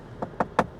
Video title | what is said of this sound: In depth walk-around review of the 2025 Audi Q7 Seater assembled in Malaysia | this one sounds more solid